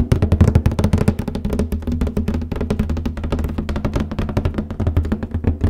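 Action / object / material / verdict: tap / cardboard copy paper box lid / cardboard / none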